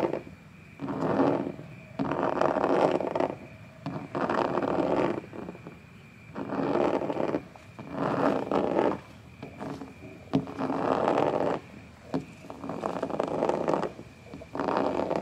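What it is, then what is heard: Plastic playground panel scratched. Fingertips with short white-painted nails tap and scratch the pebbled surface of a large red playground panel made of hard textured plastic, likely hollow molded. Irregular bursts of dry, mid-pitched scraping and tapping alternate with quieter pauses. Each sound dies away quickly with little ring.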